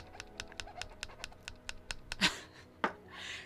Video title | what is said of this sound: Becoming Gingerbread Architects Today! (change of plans cuz i couldn't find my tree XD) | I can't shake it too much it kind of Wiggles